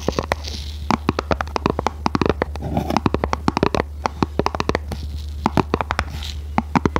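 Long nails tap and scratch a small red printed cardboard box in quick, irregular bursts of short, dry clicks with soft scraping between them. A steady low hum runs underneath throughout.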